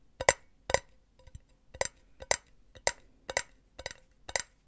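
Long nails tap the side of an empty, hollow silver metal mesh cylinder pen holder. The taps come in quick pairs and clusters, each a short, bright metallic click with a faint ring around 550 Hz that dies away almost at once. The clusters repeat in an uneven rhythm over a quiet background.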